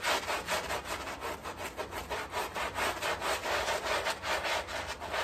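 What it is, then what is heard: Wet fabric rug being scrubbed. A gloved hand vigorously scrubs a small, wet, soapy fabric rug on tile with a handheld bristle scrub brush. Repeated back-and-forth strokes make a continuous, rasping swish that pulses with each stroke, bright and hissy.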